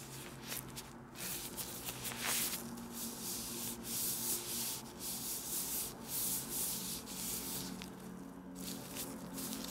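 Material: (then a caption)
Plastic. Thin, loose, transparent plastic disposable gloves worn on both hands are rubbed and crinkled together close to a small black clip microphone. A continuous bright, hissy crinkling and rustling rises and falls in waves over a faint low, steady hum.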